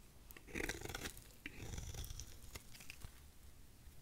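A thin curved piece of solid dry white soap is held in the fingers and shaved with a utility knife blade. The crunchy, scraping cuts come in short irregular bursts with bright crackle, over a low rumble.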